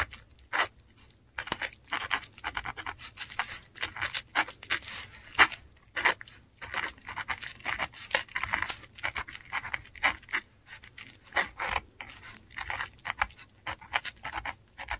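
A metal dip pen nib scratches strokes into a flat sheet of textured Korean paper while writing. The sound is a run of dry, bright scratches and short scrapes in quick bursts, with brief pauses between strokes and almost no low end.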